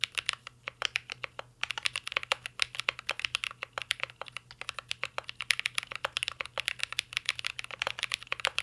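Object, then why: Mechanical keyboard with metal case and plastic keycaps. Fingertips of both hands type continuously on a mint green Cyberboard R3 mechanical keyboard with a metal case and plastic keycaps. The result is a rapid, steady stream of short, bright, clacky key strikes that stop dead with no ring, broken only by a brief pause near the start.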